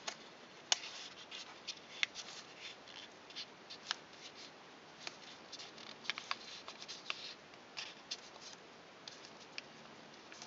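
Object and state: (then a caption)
Origami paper being creased. Fingertips and fingernails press and rub along the folds of a thin sheet of pink origami paper, partly folded toward a swan shape, to crease it. Soft, bright rustles and crinkles come at an irregular pace, broken by short, sharp crackles over a quiet hiss, with almost no low end.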